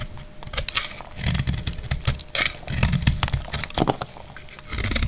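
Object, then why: Bar of soap. A utility knife blade cuts into a palm-sized, solid, dried white soap bar held in the hand, making a rapid run of crisp, bright scraping crunches and clicks over a low rumble. Chalky chunks break off as the blade works through the bar.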